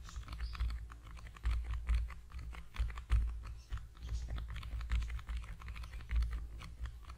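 A small, long, narrow, hollow cream-yellow cardboard product box is held in both hands over a foam-covered microphone and tapped rapidly with the fingertips. The result is a quick, uneven patter of soft, hollow, bass-heavy thumps with short decays and a few louder knocks throughout.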